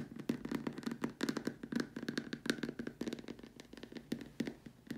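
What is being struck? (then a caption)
Plastic dome lamp shade. Long dark nails tap and scratch the top rim and sides of a large, hollow white plastic dome lamp shade. The result is a quick, uneven stream of short, dry clicks with a hollow low-mid tone. Each tap dies away almost at once, with faint bright scratching between the taps.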